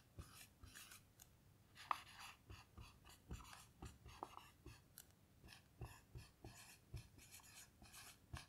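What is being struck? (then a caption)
Dry-erase marker on a small melamine whiteboard. A blue dry-erase marker writes lines of text on a small melamine lap whiteboard lying flat. Quiet, scratchy strokes come in short bursts with brief pauses between them, and one sharp squeak near the start stands out. There is a soft low thump as the marker touches down.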